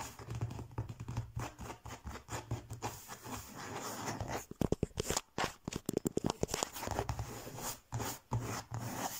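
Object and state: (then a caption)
Faux leather cover. Fingertips and nails scratch and tap a flat, textured faux leather (leatherette) cover printed with an Eiffel Tower design, lying on a table. Dense, dry scratching runs throughout, broken by a burst of quick, sharp taps in the middle of the clip, each dying away almost instantly.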